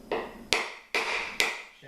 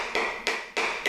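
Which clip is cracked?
The first.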